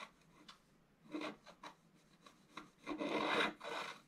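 A wooden stylus scratches a scratch-art paper board near its lower edge, making dry, raspy scraping strokes. Short, separated scratches build to a longer, louder scrape with a bright, papery hiss near the end.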